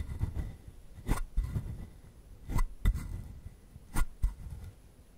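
A palm-sized hollow carved wooden frog has its textured surface scratched with the fingertips. Short, dry scraping strokes come in loose pairs over a quiet, low rumbling background. The sound is dull and low-heavy, with brief bright rasps on the stronger strokes.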